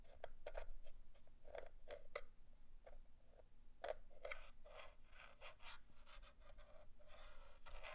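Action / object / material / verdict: tap / plastic remote controller casing / plastic / none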